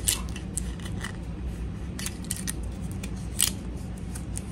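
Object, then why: Small plastic toy teapot. Long acrylic nails tap on the body of a small, hollow, empty pink plastic toy teapot held in the hands. The taps come through as short, sharp, bright clicks that die away quickly, some louder than others, over a steady low hum.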